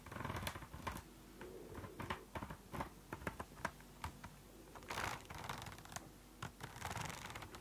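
A closed purple spiral notebook with a plastic cover is tapped rapidly with long nails. The result is a quick, uneven series of sharp, dry clicks with a bright edge that stop almost instantly, over a faint low background hum.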